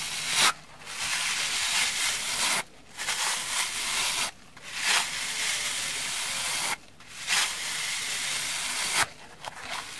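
A dry, hand-sized rectangular kitchen sponge with a soft orange foam layer and a black abrasive scouring-pad layer is held in both hands and rubbed on the scouring side with fingertips and long manicured nails. The result is a steady, bright, hissing scratch that repeats in long strokes, separated by short quiet gaps.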